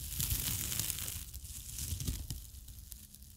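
Long acrylic nails scratch and rub the rough, fibrous surface of a flat, palm-sized green abrasive nylon scouring pad. Uneven, rapid bursts of bright, scratchy rasping ride over a dull low rumble, with the crinkly texture gradually softening and fading toward the end.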